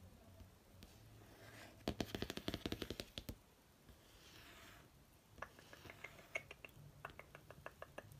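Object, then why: Laminated cardboard hardcover notebook. A glossy laminated cardboard hardcover notebook is tapped with fingertip and nail and traced along its cover and near its edge. A quick run of sharp, dry clicks gives way to soft, hissy tracing. A second, sparser series of crisp, bright taps follows over a low background hum.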